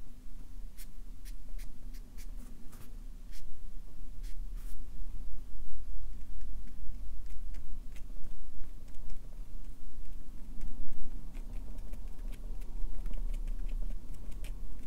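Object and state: Paper on a clipboard tapped with a marker tip.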